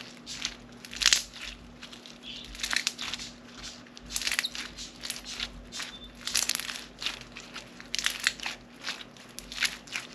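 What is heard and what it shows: A fist-sized lump of blue-pink floam slime full of small foam beads, solid and soft, is kneaded and squeezed by both hands with long painted nails over a plastic cutting board. It gives a steady run of dense, bright crunchy crackles and crinkles in irregular bursts, with a faint low hum underneath.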